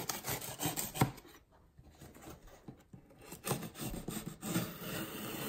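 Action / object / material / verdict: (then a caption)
scrape / corrugated cardboard box with packing tape / cardboard / none. A yellow utility knife blade runs along the taped seam of a closed, medium taped corrugated cardboard shipping box with Amazon/Whole Foods print lying on a table, while one hand steadies the box. Rough, rasping slicing and scraping of tape and cardboard comes in uneven strokes, drops quieter in the middle, then picks up again with steady scraping to the end.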